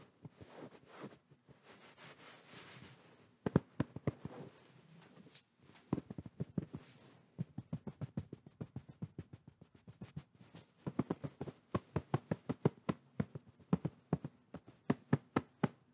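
Open palms and fingertips quickly pat and tap a medium-soft white quilted fabric pillow pressed close to the microphone. A few seconds of soft, muffled brushing give way to a rapid run of dull, low thumps with almost no ring, some sharper than others.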